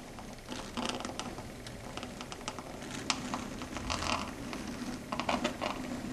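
Long red stiletto nail tips tap and click on a flat, solid dark grey chalkboard surface. The result is a quick, irregular patter of short, bright clicks that die away almost at once, with clusters of louder taps over a faint steady hiss.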